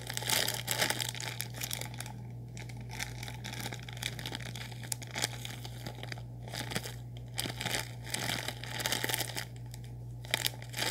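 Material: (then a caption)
Plastic. A full, sealed orange plastic instant noodle packet is crinkled and squeezed with fingers, giving dense, bright crackling that rises and falls in bursts over a steady low hum.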